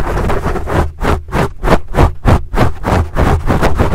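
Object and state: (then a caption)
Foam microphone windscreen being scratched. Fingertips and nails of both hands scratch a large black foam windscreen on a microphone. About nine rough, rhythmic scratching strokes come in quick succession, each a dense, bassy rustling burst that stops almost at once between strokes.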